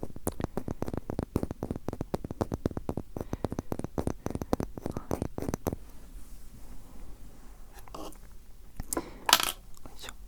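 A rectangular wooden block is tapped in a fast, dense run of short, dry knocks for about the first six seconds. The tapping then stops and only a few softer handling sounds and brief scrapes follow.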